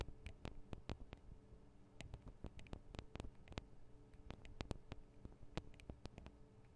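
Long acrylic nails tap on the tops of the small metal microphone capsules of a Tascam DR-40 recorder, making about 28 quick, dry clicks in an irregular rhythm. Each tap is a sharp, very short tick with a bright edge and almost no ring, sitting over a quiet, steady low hum.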